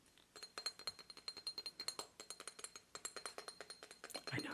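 Rapid glassy clinking taps on an obsidian statue, a quick run of short, bright hits with a faint high ringing tone. The taps come in an uneven rhythm with a brief pause near the middle, and each one fades almost instantly.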